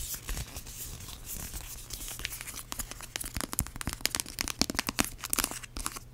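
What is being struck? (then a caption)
Plastic hand cream tube. Long acrylic nails scratch and tap on a small yellow plastic hand cream tube that is filled. Bright, dry crinkling scratches run through the first half, then give way to sharper, quicker taps and clicks toward the end over a faint steady low hum.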